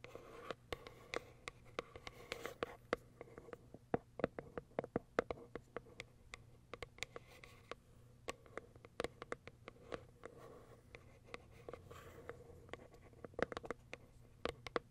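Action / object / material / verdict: tap / cardboard box with a clear plastic window / plastic, cardboard / none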